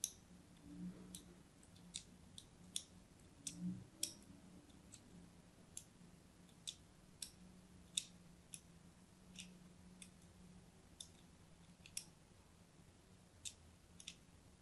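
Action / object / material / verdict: scrape / soap bar / soap / none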